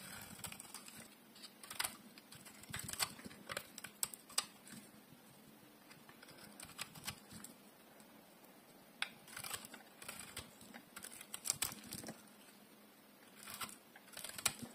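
A solid rectangular bar of dry purple soap, held in one hand, is shaved and carved with a metal utility blade. Quiet, bright, crisp scraping ticks come in short bursts separated by near-silent pauses, with very little low end.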